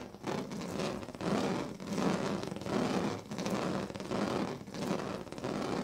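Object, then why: Woven plastic-strip sleeping mat. A pink plastic comb is raked across the ribbed surface of a large, flat woven sleeping mat made of thin purple, green and yellow plastic strips, lying on a bed. The result is a steady series of rough, rasping scratch strokes that swell and fade in waves, with a buzzy low-mid texture and a bright, crackly hiss on top.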